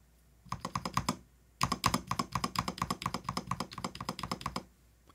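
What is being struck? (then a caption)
Plastic mechanical keyboard. Fingertips of both hands type on a compact cream-and-orange Blitzwolf BW-KB3 mechanical keyboard with a plastic case and plastic keycaps, lying flat on a desk. About 31 short, clacky keystrokes with a hollow tone near 1.1 kHz come in a brief burst, then a pause, then a longer steady run. Each keystroke dies away almost instantly.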